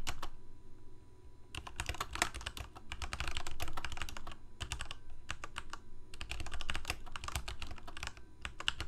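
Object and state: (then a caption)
Plastic mechanical keyboard being typed on. Fingertips of both hands type rapidly on a full-size black plastic Corsair mechanical keyboard with lit keycaps. The result is a fast, uneven stream of sharp, bright key clicks in bursts, with short pauses between them, over a low thumping undertone as the keys bottom out.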